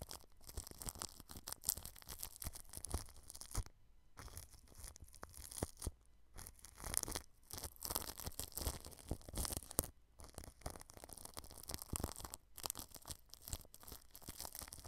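A small pointed paintbrush brushes clear plastic cling film stretched over a microphone head, working along the grille edge. The result is a continuous crinkly, scratchy rustle with bright crackle and a low thumping rumble, broken by brief near-silent pauses.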